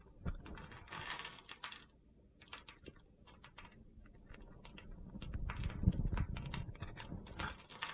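A solid mint-green bar of soap held in the palm is scraped with a metal box-cutter blade, producing dry, gritty crackles and rapid irregular clicks. There is a brief quiet pause near the two-second mark, then the scraping grows denser and fuller toward the end.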